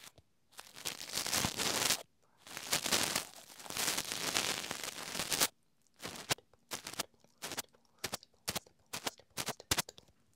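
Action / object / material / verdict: scrape / small plastic wireless microphone transmitter / plastic / none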